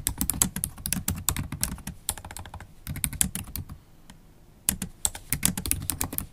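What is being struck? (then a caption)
Laptop keyboard with plastic keys in an aluminium body. Long acrylic stiletto nails type on a MacBook Pro keyboard with black plastic keys in an aluminium body. They produce rapid bright clicking taps over a low thudding base, with a brief lull near the middle before the fast typing resumes.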